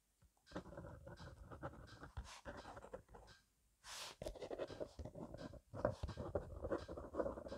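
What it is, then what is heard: Pen writing on a paper notebook. A blue gel/rollerball pen, held by the fingertips, scratches fast, messy cursive writing across the page of a thick paper grid notebook resting on a wooden desk. Dense bursts of scratchy, papery strokes run throughout, broken by a short pause and a brief bright whoosh before the quick scribbling resumes.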